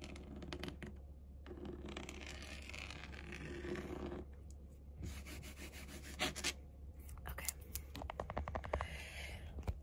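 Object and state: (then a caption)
Faux leather chair backrest. A long acrylic nail on an index finger scratches and rubs the textured surface of a large black pebbled faux-leather panel, the rounded padded backrest of a chair. Dry, raspy scratching and softer rubbing passages alternate with quick sharp ticks near the end, all over a steady low hum.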